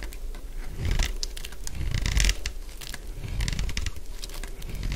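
A utility blade scrapes the surface of a solid purple dry bar of soap. The result is a continuous series of dry, crunchy scraping strokes with bright, crackling bursts over a soft low rumble.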